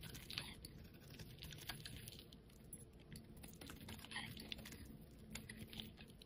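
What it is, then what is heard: Bar soap being carved. A utility knife blade scrapes and carves thin curled shavings off the face of a solid yellow, palm-sized rectangular bar of soap held in a hand with long painted nails. The sound is a steady, quiet run of short, crisp scraping ticks with bright edges over a low, soft rasp.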